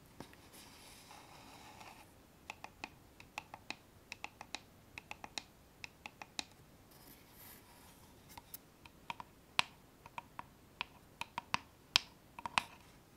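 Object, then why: Small wooden box with metal clasp. Long nail tips tap the front and sides of a small, dark, hollow wooden box with a metal clasp, kept closed. About 23 quiet, sharp, bright clicks sound in an irregular rhythm, each dying away almost instantly. A soft scratchy rustle runs underneath the first couple of seconds.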